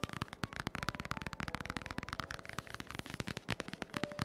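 Fingertips and short nails rapidly tap and scratch the glossy laminated cardboard cover of a large, solid, closed hardcover children's book, "My First Big Book of Questions & Answers," lying flat on a dark wooden table, recorded close up from above. About 26 quick, dry, crackly taps with no ring blend with faint scratching, giving a dense, brittle clatter.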